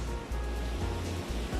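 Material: Nothing is struck.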